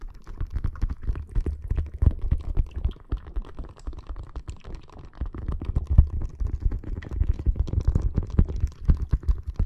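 Long nails scratch and tap across a clear plastic bag filled with red water beads lying on the microphone. A dense stream of quick, soft taps and squishy rustles keeps up throughout, with nearly all its weight in deep, muffled low thumps.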